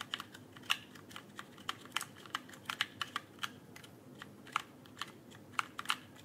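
Fingertips tap and type on the plastic keycaps of an RGB mechanical keyboard held near the microphone. About 23 sharp, bright clicks come at an uneven typing rhythm, each dying out almost instantly with very little low end beneath them.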